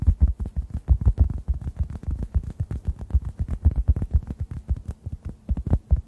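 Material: Foam.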